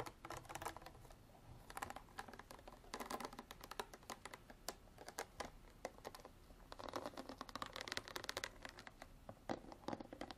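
Long artificial nails tap and scratch the ridged sides and orange cap of a clear ridged plastic water bottle about a quarter full of water. A quiet, steady stream of quick, bright clicks blends with raspy scratching over the ridges. Each tap dies away almost at once.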